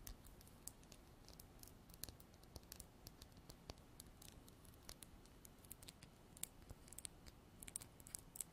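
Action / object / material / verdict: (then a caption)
tap / small glass bottle with plastic pump top / glass / none. A small clear glass bottle with a white plastic pump top, held sideways, is tapped and scratched with long black artificial nails. Many quick, bright clicks and sharp ticks are heard, with soft scratching between them over a quiet low rumble. Each tap dies away almost at once.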